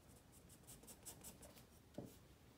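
A wooden graphite pencil rubs across a page of a white spiral paper sketchpad lying flat, making a series of soft, quiet drawing strokes with bright, scratchy hiss. Near the end comes a single sharper, louder tap with a low body before the faint scratching continues.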